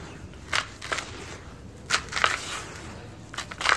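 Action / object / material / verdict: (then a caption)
scrape / handful of red soil with pebbles / soil / none. Bare fingers and palms scoop, squeeze and crumble handfuls of loose, dry red-brown dirt cakes with small pebbles and clumps, heaped in a large white bowl. Short, crisp, bright crunches and crackles come in irregular bursts as the soil breaks apart and falls back into the pile. A soft, low hiss fills the pauses between them.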